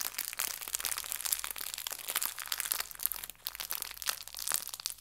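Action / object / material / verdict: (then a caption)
scrape / clear plastic bag with fabric leaves / plastic / none. A small clear plastic bag holding fabric artificial leaves is crinkled, then rolled and squeezed with fingers and nails. The result is a continuous, bright crinkling and crackling with sharp rustling bursts and almost no low end.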